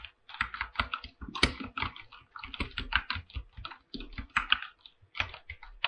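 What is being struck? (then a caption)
Mechanical keyboard with aluminium case and plastic keycaps. Fingertips type continuously on a full-size mechanical keyboard with an aluminum body and white and light-blue PBT plastic keycaps. Quick, short clacks come in a steady run with brief pauses, each keystroke sharp and bright with a little low thock beneath and almost no ring.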